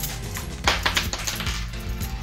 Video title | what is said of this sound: Déballage du jeu Age of Comics, The Golden Years Kickstarter Version Deluxe - Les Petits Chefs | ça sonne quand même ça sonne métal mais sont plus léges